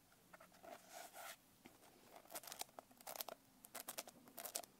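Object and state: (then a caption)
Glitter-covered paper notebook. Long painted nails tap and scratch the coarse glitter surface of a blue glitter-covered paper notebook held up close. A quiet, uneven run of short, dry, crackly taps and bright scraping bursts is heard, with almost no low end and no ring after each stroke.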